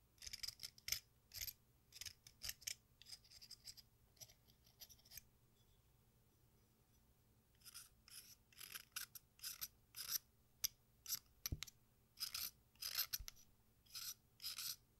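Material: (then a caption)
Chalk. An exacto knife blade scrapes and shaves the red surface and edge of a solid watermelon-slice-shaped piece of sidewalk chalk over a pink bowl full of red chalk dust. Short, bright, raspy scraping strokes come in quick bursts, with a quiet pause in the middle before the shaving resumes.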